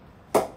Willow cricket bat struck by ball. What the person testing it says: the ball is just flying off of the back and it's close to the ceiling